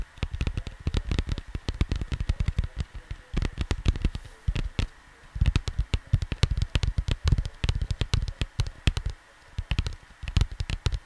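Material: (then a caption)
Cardboard. Fingertips rapidly tap and scratch on a cardboard vinyl record album cover, producing dozens of short, dry, dull thumps. The taps come in quick bursts with brief pauses around the fifth and ninth seconds. The sound is deep and muffled, with little bright content and only a faint steady tone in the background.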